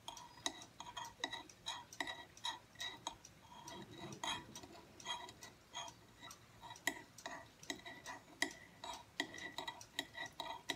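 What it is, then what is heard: Aluminum tablet stand. Fingertips tap and lightly scratch the thin back plate of a small silver aluminum tablet stand with a solid base, standing upright on a wooden table. The irregular taps are quick, bright metallic ticks with ringing tones near 1 kHz and 2 kHz that fade almost instantly. A softer, brushing scratch fills the gaps around the middle of the clip.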